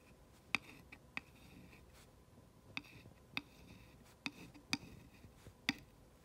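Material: Wood.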